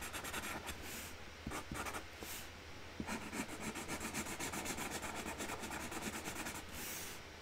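A hand colours flower petals on a flat cardboard box lid with a pink Sharpie felt-tip marker. The tip makes quick, scratchy rubbing strokes at about four per second in an uneven rhythm, with a bright hiss over a faint low hum.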